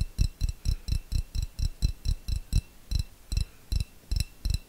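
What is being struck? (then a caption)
Small glass jar. A small, clear, hollow, nearly empty glass jar is held in the hand and tapped rapidly with long fingernails. Sixteen separate taps are heard at a quick, slightly uneven pace, each a dull low thump with a faint bright click on top that dies away almost at once.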